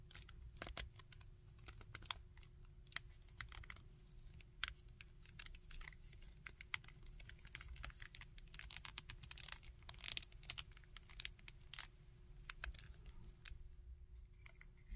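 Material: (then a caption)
Plastic. Fingertips tap and scratch a small plastic Iron Man action figure and click its arm joints. The result is a quiet, steady stream of quick, dry, bright clicks and scratchy taps that stop sharply, over a soft low rumble and a faint steady hum.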